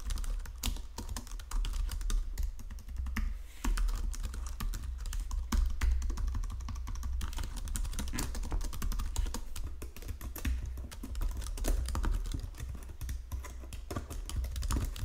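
Fingertips with painted nails type steadily across a full-size white and silver plastic Logitech keyboard with low-profile keys resting on a marble desk. A continuous stream of quick, short, dry key clicks and taps rises and falls over a steady low rumble.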